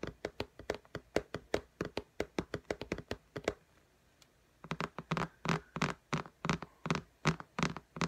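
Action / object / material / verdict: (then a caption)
tap / glass tablet screen in a case / glass / none. Long nails tap and click on the glass screen of an iPad lying flat in a pink case, making 36 short, dry taps with almost no ring. A quick run of lighter clicks pauses for about a second, then resumes as fuller, slightly thumpier taps.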